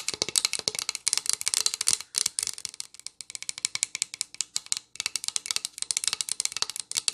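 Long nails tap quickly on the bare back of a solid pine plank sign held upright. The result is a rapid stream of crisp, bright clicks with almost no low end and no ring, broken by brief pauses near 2 and 5 seconds.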